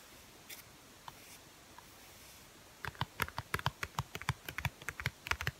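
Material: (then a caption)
Paper. A closed, medium-sized NIV Bible with a blue and white paper cover, held flat, is tapped repeatedly with the fingertips across its top edge and front cover. After a few faint taps, a quick run of about twenty short, dry, clicky taps follows, each with a soft low thump and a bright papery tick that dies away almost instantly.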